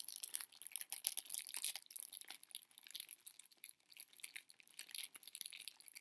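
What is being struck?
Cellophane-wrapped candy box.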